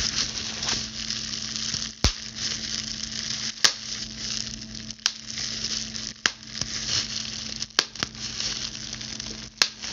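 A clear plastic bubble wrap sheet has its air bubbles pinched and popped with the tips of long pointed blue acrylic nails. Sharp, bright pops stand out at intervals over a steady, dense crinkling and crackling hiss, with a faint low hum underneath.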